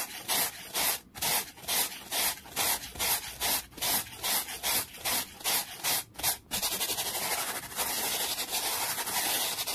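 A black-bristled brush scrubs fast across a small, solid, flat wooden board resting on a towel. It makes bright, hissy scratching in rapid, distinct back-and-forth strokes for about six and a half seconds. The strokes then blur into a continuous, steady rasp until the end.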